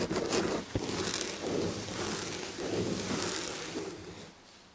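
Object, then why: Textured fabric upholstery on a chair back. Long red fingernails scratch the textured red and gold fabric upholstery on the back of a chair. Repeated dry, scratchy rustling strokes come with a brief sharp tick early on, and the scratching fades softer toward the end.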